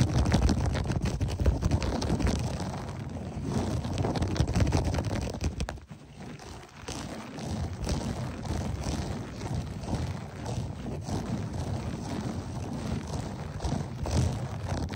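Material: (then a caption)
Carpet fibre. Both hands quickly scratch and rake the pile of a beige, textured berber loop-pile carpet on the floor with short nails and fingertips. The result is a dense, steady scratching and rustling, heavy in low, muffled tones, with a brief quieter dip near the middle before it picks back up.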